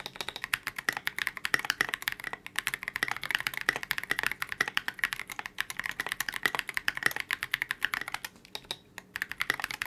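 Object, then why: Polycarbonate mechanical keyboard with tall plastic keycaps. Continuous two-handed fingertip typing on a KBD67 Lite mechanical keyboard with a transparent polycarbonate case, C³ x TKC Kiwi switches and Oblotzky SA Oblivion V2 keycaps. A rapid, steady stream of short, crisp clacks with a bright ring around 1.9 kHz dies away almost instantly after each keystroke.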